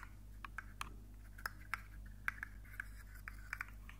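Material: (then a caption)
Plastic. A rainbow segmented plastic articulated fidget slug with hollow jointed segments is held up in one hand and wiggled so its segments click and scrape. Short, dry plastic clicks around 1.5 kHz pop out irregularly over a steady low hum, each dying away almost instantly with soft scraping between them.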